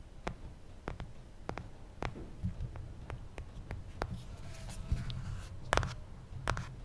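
Fingertips tap an original iPhone, a small, solid glass-and-aluminum smartphone, first on the glass screen and then on the aluminum back and black plastic cap. About fourteen short, dry taps are heard, each a quick bright tick over a soft low thump. They die away almost instantly against a quiet background.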